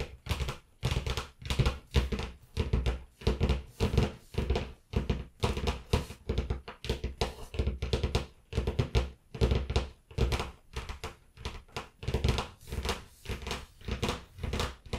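Long nails tap the cover of a closed blue cloth-bound hardcover book lying on a table. The taps come as quick clusters of dull, low thuds with a faint crisp click on top. Each tap dies away almost at once, and the tapping keeps a steady rhythm throughout.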